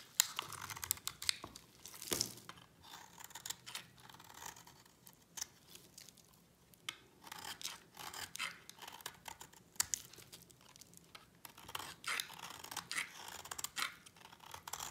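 A utility knife blade shaves curls off a solid, pale yellow bar of dry soap held in the hand. It makes a quiet series of crisp, dry scraping and crackling strokes, bright and high with almost no low end. Each stroke is short and stops without ringing.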